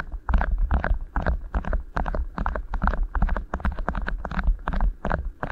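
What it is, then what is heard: Beeswax food wrap. Two rolled beeswax-coated cotton food wraps sit over the microphone capsules while fingertips squeeze and rub the thin waxy fabric. The result is a steady run of close, crinkly rustling bursts with deep, muffled low thumps underneath and little high-end brightness.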